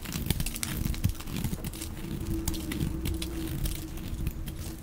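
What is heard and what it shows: A dark blade cuts and scrapes long strips from a solid, dry, olive-green rectangular laundry soap bar, hand-sized and held in one hand. The result is a steady, low, crinkly scraping with scattered sharp crackling ticks and a faint hum underneath.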